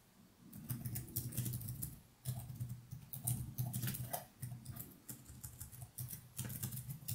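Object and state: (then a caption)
Plastic laptop keyboard. Fingertips type continuously on the plastic keys of a laptop keyboard, producing a steady patter of soft, bright clicks over a low hum. The taps come in quick bursts with brief pauses between them.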